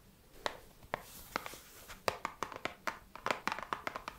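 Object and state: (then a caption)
Cardboard box tapped with nails. Long red acrylic nails tap a small, flat, hollow printed cardboard box, a The 7 Virtues Peace Perfume Discovery Set held in both hands. Sharp, dry, bright clicks come in an irregular run, sparse at first and then quicker, each one dying away almost at once.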